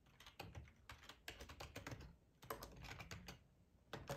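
Fingertips of both hands type on a full-size black plastic ergonomic split keyboard resting on a cloth tablecloth. Quick bursts of soft, muffled key clicks with a dull low thud under each press alternate with brief pauses, and each click dies away almost at once.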